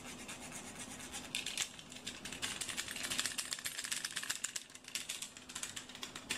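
A yellow plastic box cutter is held in the hands while its blade slider is clicked and its body is tapped with fingertips. This makes fast, irregular ratcheting clicks and taps that are bright and crisp, over a faint steady low hum.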